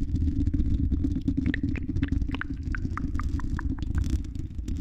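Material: Metal mesh.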